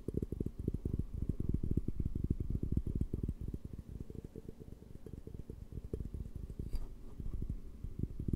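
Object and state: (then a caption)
Glass beer mug. Fingertips and nails tap and rub the faceted walls of a large, empty, clear glass beer mug with a handle, held hollow in front of the mic. The result is a quick, irregular stream of short, dull, low thumps with almost no ring, and faint bright scratches from the rubbing.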